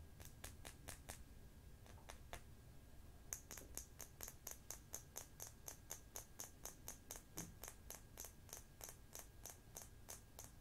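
Long fingernails and fingertips tap and turn a small, round, hollow black plastic makeup pot with a screw lid, likely partly full, held above a makeup box. A few quick, sharp, bright clicks are followed by a short pause, then a steady, rhythmic run of crisp, high-pitched ticks. The taps stay dry and short over a soft low rumble.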